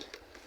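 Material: Plastic.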